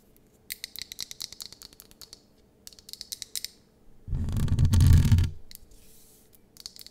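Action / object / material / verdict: tap / wax-filled glass candle jar tapped with fingernails / glass / none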